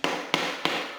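A ceramic floor tile is tapped three times during grout cleaning, giving sharp, bright knocks with a hollow ring that fades quickly after each hit. The hollow sound shows the tile is not bonded to the substrate underneath.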